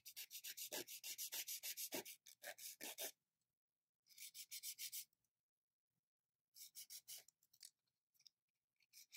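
The sides of long, almond-shaped, gel-covered fingernails are filed with a grey and green abrasive nail file in rapid, repeated rubbing strokes. The result is a bright, hissy scratching in quick bursts separated by pauses, with a few scattered strokes near the end.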